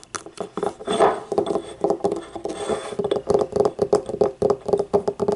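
Long painted nails tap rapidly on the outer wall and rim of a small, hollow, yellow, ribbed, glazed ceramic paint cup standing upright and empty. Each click rings with a short hollow tone of about 400 Hz, and a couple of brief scratchy passages break up the tapping.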